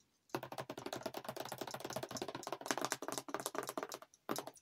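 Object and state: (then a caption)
Paperboard creamer carton. Long acrylic nails tap rapidly on a yellow Chobani coffee creamer carton made of waxed paperboard, which is hollow, looks filled, and is held in one hand. The taps make a quick run of short, dry, keyboard-like clicks with a bright edge, pausing briefly just before the end.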